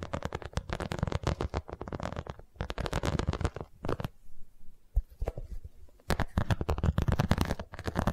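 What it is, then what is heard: Vinyl cosmetic pouch. Long nails tap and scratch the embossed surface of an iridescent holographic vinyl zippered cosmetic pouch held close to the mic. Rapid, dense bursts of crisp tapping and scratching sound with a strong low thump, separated by a brief quiet stretch in the middle before the tapping resumes.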